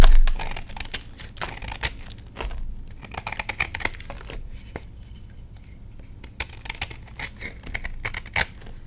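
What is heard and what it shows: A palm-sized solid reformed purple gym chalk block, held over a tray of chalk crumbs, is scraped and shaved with a patterned knife blade. A rapid series of dry, crisp scrapes, crackles and sharp snaps sounds out as the chalk flakes and cracks away.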